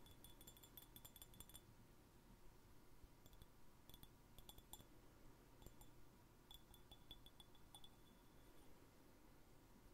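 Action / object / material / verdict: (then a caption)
tap / small glass jar / glass / none. A small, empty, clear glass jar without its lid is tapped and scratched with fingernails on its wall and threaded rim. Quiet, bright clinks and clicks come in loose clusters over a low, steady background hum. The clinks ring only briefly.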